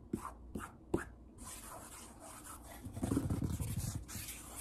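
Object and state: Solid wooden tabletop.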